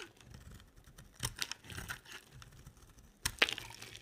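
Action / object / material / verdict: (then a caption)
scrape / solid bar of soap / soap / none. A box-cutter blade scrapes and carves a solid oval bar of dry white soap, lifting off flakes. Quiet, crisp, bright scratching and crumbly rasps come in short bursts, with sharper scrapes near the middle and a louder pair toward the end.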